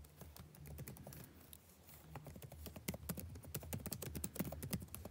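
Fingertips type continuously on the blue-backlit plastic keycaps of a dark laptop keyboard, producing rapid, irregular taps. Each keystroke is a short, dry click with a bright edge that stops almost instantly, over a steady low hum. The typing grows slightly louder and more pronounced toward the end.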